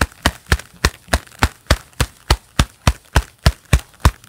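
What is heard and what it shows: Hands in a pair of black leather gloves clap and flex together in a steady rhythm, giving 14 separate claps. Each is a short, dull leathery thump with a bright slap on top that dies away almost at once, leaving quiet between claps.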